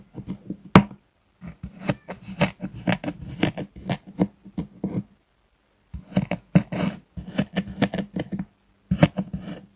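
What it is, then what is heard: Kinetic sand slab cut with a knife. A metal knife cuts a flat, solid purple kinetic sand slab in diagonal lines on a wooden board. Quick chopping strokes give soft, crunchy scrapes over a low, dull thump from the board, each one dying away almost at once. The strokes come in bursts, with a pause of about a second near the middle.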